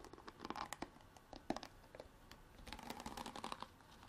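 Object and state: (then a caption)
Plastic water bottle. Long black artificial nails tap and scratch a clear, ridged hard-plastic drink bottle with an orange cap, partly filled with water and held in both hands. A quiet, rapid run of crisp plastic clicks mixes with crinkly, tearing-like scratches, each tap dying away almost instantly with a faint hollow mid-pitched ring.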